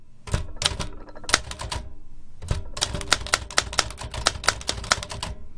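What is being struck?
Metal typewriter.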